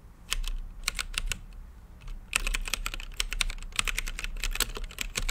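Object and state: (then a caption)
Mechanical keyboard typing. Fingertips type on a blue-lit mechanical keyboard with plastic keycaps and a clear acrylic case. Sharp, bright clicks come in quick bursts, sparse at first and then dense and rapid, each key strike short and crisp over a low steady hum.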